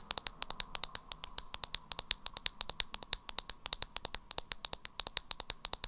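Long acrylic nails tap and scratch the body and black lid of a small beige plastic jar of Revolution "Banana" loose powder held in the hands. A rapid, uneven series of dry, sharp clicks, bright and crisp with almost no ring, plays over a faint steady hum.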